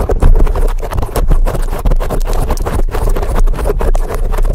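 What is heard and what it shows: A large black foam windscreen on a microphone is scratched rapidly with the tips of very long acrylic nails from both hands. The result is a dense, continuous stream of rough, scuffing rustles dominated by deep low-frequency rumble, with quick overlapping strokes that keep the level fairly steady and loud.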